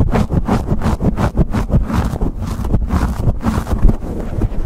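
Fingertips and nails scratch, pinch and rub a black foam windscreen on a microphone held close to the camera. The result is a fast, continuous run of muffled, bassy rustling and thumping bursts with almost no high-end content.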